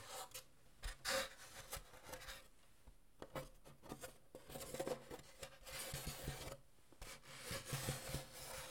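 Fingertips rub and scratch across the bracing inside the hollow, open shell of a wooden acoustic guitar cut in half, a thin wooden plate with braces and a soundhole. The result is a quiet series of dry, rasping scrapes and rubs with bright, hissy bursts and short, quickly fading resonance from the wood.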